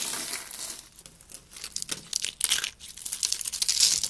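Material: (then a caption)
Soap. Loose, thin curls of dry pink soap, rolled hollow, are picked up and crushed between fingertips with red nails. Brittle flakes give a rapid run of crisp, dry crinkling and crunching bursts that are bright and high with almost no low end. The crackles rise and fall unevenly and grow denser and louder toward the end.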